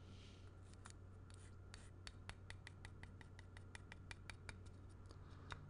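Fingernails scratch across a small, solid, grey-painted wooden block bearing a string-art slime made of nails and thread, catching the nails, the threads and the wood. A quick run of short, bright ticks and scratches rises over a quiet, steady low hum. Each tick dies almost instantly.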